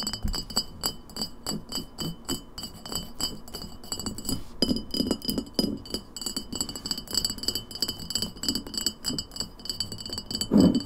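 An empty glass lemonade bottle stands upright and is tapped quickly with long nails on its glass shoulder and label. The result is a fast, steady stream of sharp clinks with a low body and bright, high ringing overtones, each tap dying away almost at once. The tapping briefly thins out just before the midpoint and ends on a louder burst of taps.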